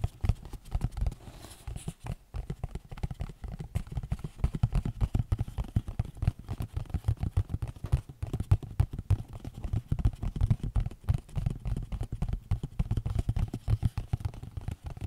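Fingernails tap and scratch across the faces of a small, hollow, rectangular yellow printed cardboard Lord Nelson tea box, likely full of tea bags. The result is a steady stream of rapid, dull, muffled taps with a low, thudding body and almost no ring, broken up by softer scratching.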